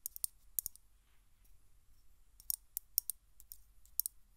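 A Glade aerosol can, a hollow metal cylinder with a plastic cap, is briefly moved or turned, then tapped and scratched with long nails on its metal base and side. The result is a quiet series of short, dry, bright clicks and taps with almost no ring, separated by faint soft scratching and a low background rumble.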